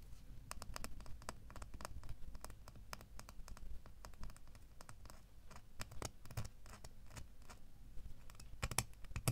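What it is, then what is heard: Metal door key. A small, solid metal door key rests in a palm and is then held in the fingers while fingernails scratch across it. Quick, dry scratches and sharp, bright ticks come in an uneven stream over a steady low rumble, and each one stops almost instantly.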